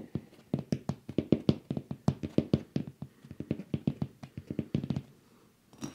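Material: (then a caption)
Glass. A man standing below taps and scratches the hollow frosted glass bowl shade of a ceiling-mounted light fixture with his fingertips and nails, picked up by wrist-worn microphones. A quick, uneven run of dull, low taps with a hollow body around 215 Hz and almost no ring fills most of the clip. After a short pause, a brief brighter scratch comes at the end.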